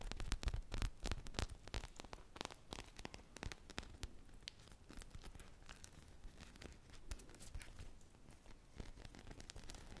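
A single hand-sized solid polyurethane foam ice-cream pop squishy on a stick, glazed teal and white with sprinkles, is scratched with long painted nails and squeezed in both hands. Rapid, irregular dry scratching and crackling clicks run throughout, loudest in the first two seconds and then settling into softer, steady rustling.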